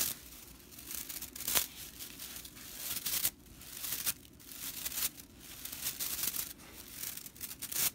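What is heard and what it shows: Long nails scratch and rake the dry straw bristles of a whisk broom as the broom is turned. The result is a bright, crisp, crackling rustle with sharper raking swipes standing out now and then.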